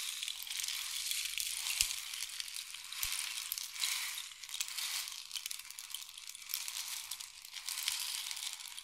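A long, hollow, painted wooden or bamboo rain stick is held diagonally and tilted, sending the pellets inside flowing down its length. This makes a continuous, bright, hissing patter of tiny grains that swells and fades in slow waves. Almost no low end is heard.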